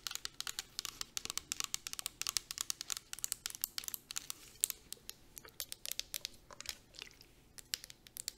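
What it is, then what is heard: Plastic spray bottle, tapped. A clear plastic 250 ml fragrance mist bottle with a gold cap, filled with liquid, is tapped quickly along its body with long nails. The result is a dense run of sharp, bright clicks with almost no ring and no low end.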